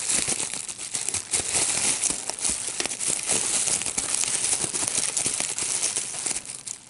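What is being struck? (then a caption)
Plastic bubble wrap sheet. A clear plastic bubble wrap sheet with small air-filled bubbles is held in both hands while fingertips squeeze and pop the bubbles. The result is a steady run of sharp, bright pops and crinkling plastic crackle, almost entirely high-pitched with very little low end.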